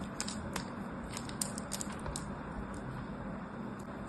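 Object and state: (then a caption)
Bar soap being carved. A small blade scores and carves a grid of cubes into a solid, palm-sized rectangular purple bar of soap held in the hand. Repeated short, bright scratching cuts rise over a steady low hum, with one sharper crack standing out near the middle.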